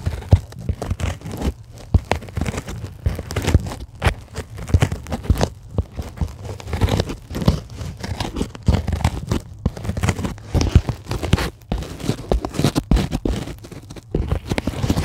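Long, glittery acrylic nails scratch a flat, solid, white closed-cell polyethylene foam sheet about a centimeter thick. The result is a dense, continuous run of short, crunchy, squeaky scrapes and tearing-like rustles, heavy in the low end. Each burst dies away almost instantly.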